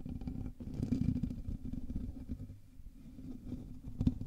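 Both hands scratch the hollow metal mesh grille of a black USB microphone with their fingertips and nails. The result is a dense, low, rumbling scratch with a hum near 250 Hz and little high content. It swells in rough bursts, loudest around the one-second mark and again near the end.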